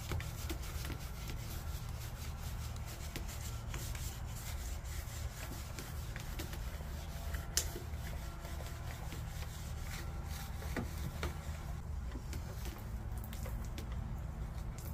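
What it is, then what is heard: Glass window pane being scraped. A gloved hand works a handheld scraper across a large flat glass window pane in a white frame on a house exterior, scraping off paint overspray. Faint, repeated rasping strokes and small ticks sit over a steady, dominant low hum at a constant level, with one brief sharper click partway through.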